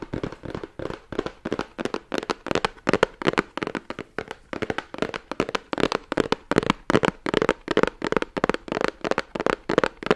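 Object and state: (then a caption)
Cardboard gift box. A hollow, rigid cardboard Guerlain gift box printed in red and gold is held in the hands while fingertips and nails tap and scratch its sides. The result is a steady run of quick, dry taps with a hollow mid tone around 420 Hz, broken by brief scratchy rasps and almost no ring.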